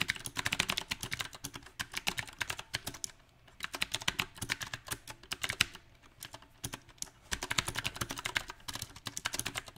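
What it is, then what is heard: Mechanical keyboard with plastic keycaps. Fingertips of both hands type on a small 68-key backlit mechanical keyboard with round typewriter-style plastic keycaps set on a silver metal plate. The rapid, bright, crisp clacks come in uneven bursts, with brief pauses near the third and seventh seconds, and each keystroke dies away almost at once.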